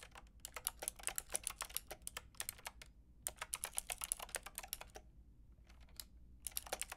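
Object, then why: Mechanical keyboard with round plastic keycaps. Long painted nails and fingertips type on a pink and white plastic mechanical keyboard with round plastic keycaps. Dozens of quick, bright, clicky keystrokes come in rapid bursts, with short pauses between runs, over a faint steady low hum. Each click dies away almost instantly.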